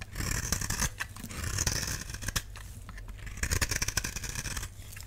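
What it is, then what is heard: Dry soap bar shaved with a blade. A utility knife blade scrapes across the face of a solid, palm-sized, oval pink bar of dry soap held in one hand, shaving off thin curls. The result is a dense run of crisp, dry scratching strokes with bright, hissy edges over a low rumble, swelling in bursts and then easing off.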